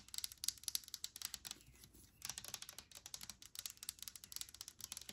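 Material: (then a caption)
Plastic. Long nails tap rapidly on the body of a hand-held clear plastic hand sanitizer spray bottle with liquid inside. About thirty quiet, crisp, bright clicks with almost no ring come in quick bursts, with a brief pause partway through.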